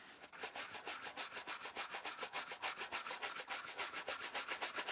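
A brown suede Nike Vintage Challenger sneaker, held hollow in one hand, is dry-brushed back and forth with a wooden-handled horsehair shoe brush as it is cleaned and restored. The strokes make quick, steady, bright scratchy swishes, about three to four per second, with little low end.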